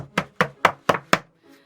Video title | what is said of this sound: I Made Enoch from Over the Garden Wall - DIY Paper Mache Costume | You're going to want to make sure you can knock on it with a nice hollow sound before you paint it to make sure that it's strong enough.